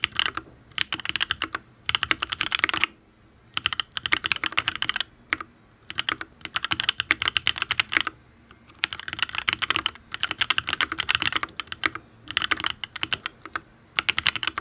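Fingertips type on a full-size custom mechanical keyboard, a Matrix Abel X (Ablex) penpen with an aluminium case, ABS keycaps and Tealios V2 linear switches. Bursts of rapid, crisp, bright clacks run in uneven runs, with short pauses between them. Each keystroke is short, with almost no low end.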